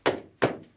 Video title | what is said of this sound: Episode 68 - Live-ish From the Haunted Fearing Tavern | as you can hear it's hollow under here